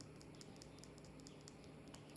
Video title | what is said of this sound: ASMR Collection Show & Tell: Vertebrate Fossils | You can hear they still sound like stone.